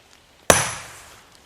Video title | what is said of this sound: The Story of a Bench Over Glen Lake | that different tone? That sounds like something might be happening.